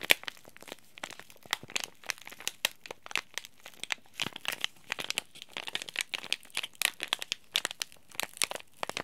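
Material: Plastic foil.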